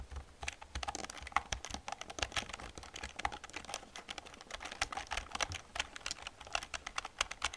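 Both hands type with fingertips and long nails on an old black plastic computer keyboard. A rapid, steady stream of short, bright clicking keystrokes is heard, each tap dying away almost instantly over a faint low thud.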